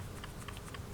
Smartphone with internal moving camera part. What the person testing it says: sıkıntı değil içerideki sallantı o his yani tıkır tıkır çalışıyor arkadaşlar bir motion sensör var